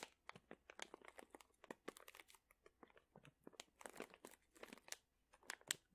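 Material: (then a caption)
Plastic. A medium sealed printed plastic pouch full of dried chili peppers is squeezed with fingertips, making a quick run of about twenty dry, bright crunches and crinkles. Each one ends almost instantly, with the sound sitting mostly in the mids and highs and almost no low end.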